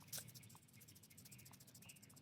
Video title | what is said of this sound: How to Save Arugula Seeds and Build Your Own Seed Bank | And if I shake it, you can hear the the seeds inside of these little tiny pods shaking around.